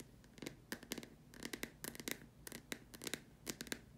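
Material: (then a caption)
Plastic. Long dark-painted nails tap and scratch the sides of a large, empty, white hollow plastic dome lamp shade resting on a fabric surface. A quick, irregular run of sharp, dry clicks with bright edges is heard over a soft scratching hiss, with each tap dying away almost instantly.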